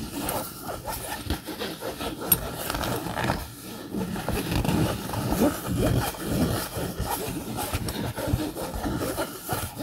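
A camouflage polyester fabric bag with a yellow zipper, held upright, is scratched with fingernails. The result is a steady, irregular run of rough scratching and rustling strokes, mostly dull and low with a faint bright hiss on top.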